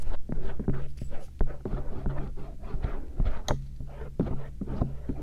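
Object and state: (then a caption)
Silicone ear microphone scraped with a metal earpick. A thin stainless steel earpick scratches around the lobe and rim of the soft silicone ears of a binaural microphone. Soft, dull scratching and rubbing come in irregular strokes, with a low, muffled rumble and almost no high end.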